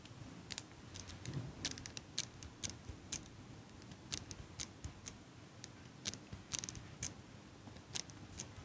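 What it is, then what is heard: Metal eyelash curler clicking. A small silver metal eyelash curler is held close to the microphone while a hand with long pink nails clicks and squeezes its handles. The result is a rapid, uneven series of short, sharp, bright metallic clicks over a faint low rumble.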